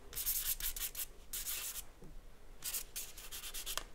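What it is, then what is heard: Charcoal scratching on drawing paper. A charcoal stick scratches and rubs across a white paper drawing sheet resting on a board while sketching a face. The result is a series of dry, bright, hissy strokes in short bursts, separated by quiet pauses and a low background hum.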